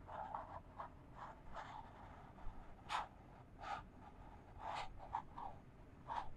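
Long fingernails scratch a small, empty, hollow white printed cardboard box held in one hand. Quiet, irregular papery scratching strokes come in short bursts, some reaching brighter, with a faint hollow midrange tone over a low background hiss.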